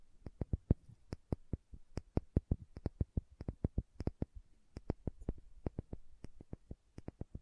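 Long manicured nails tap and scratch the red plastic screw cap and paper label of a small, apparently filled glass spice or condiment bottle. The result is a quick, uneven run of dozens of short, dry clicks, each with a soft low thump and a faint bright tick, dying away almost instantly. Faint scratching fills the gaps between taps.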